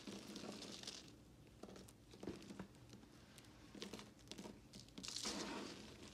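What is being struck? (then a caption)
Broken bar soap chunks. Both hands with long glittery nails grab, squeeze and crumble a pile of broken white and red-swirled solid bar soap chunks on a pink surface, rubbing them together. The result is a soft, irregular run of dry crunching and crinkling with bright, gritty crackles and a few sharper snaps, swelling louder near the start and end.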